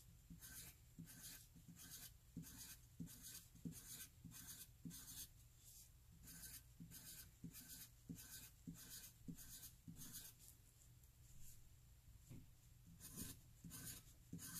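A graphite pencil tip writes rows of cursive e's across a flat white paper sheet. Each loop makes a short, bright, scratchy rasp, and the strokes repeat at an uneven pace of roughly one and a half per second over a steady low hum.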